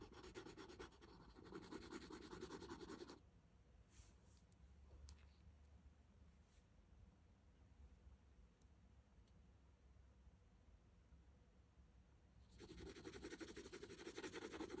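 An orange wooden colored pencil is rubbed rapidly back and forth on a thin printed paper coloring sheet lying flat on a table, coloring in the lower skirt area. Dense, bright scratching strokes fill the first three seconds, then give way to a quiet stretch with only a faint low hum and a few soft ticks. The scratchy coloring resumes for the last two seconds.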